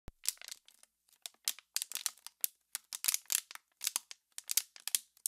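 An empty, hollow, clear plastic water bottle with embossed lettering is held in both hands with long pink-painted nails and squeezed and crinkled close to the mic. A quick, uneven series of short, dry, bright crackles and crinkles follows, with almost no low end and no ringing between bursts.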